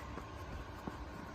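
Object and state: Nothing is struck.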